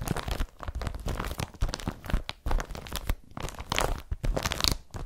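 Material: Polypropylene.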